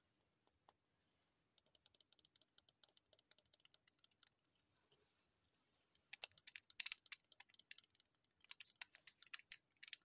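Long painted nails tap and scratch the waxy surface of a large, solid, unlit yellow wax pillar candle with a dark paper label, held in one hand. Quiet, bright, crisp ticks and clicks with almost no low end come sparsely at first, then grow denser and louder from about six seconds into quick, scratchy bursts of tapping.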